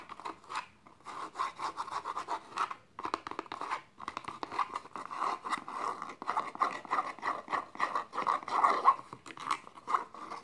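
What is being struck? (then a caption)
Small faux leather box with suede lining. Fingertips and medium nails scratch and rub the tan suede lining on the inner walls and floor of a small, open, hollow, empty box of dark textured faux leather. The result is a run of quick, dry, papery scratching strokes with a hollow midrange body centred near 1 kHz and no low end, broken by brief pauses.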